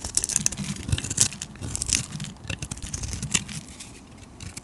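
A flat metal blade scrapes and shaves the surface of a palm-sized, solid purple bar of soap with a red layer, held in one hand with long nails, throwing off curls and flakes of soap. The strokes make a dense run of crisp, bright scraping and crackling with soft low thuds beneath, each stopping almost instantly without ringing.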